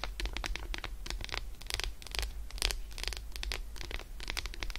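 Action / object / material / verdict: scrape / milk chocolate bar / chocolate / none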